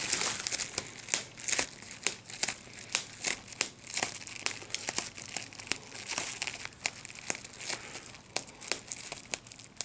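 A large sheet of clear plastic bubble wrap with small air bubbles is lifted and handled while the bubbles are pinched with the fingers. Steady bright crinkling of the plastic runs throughout, broken by many sharp, dry pops that cut off almost instantly, with almost no low end.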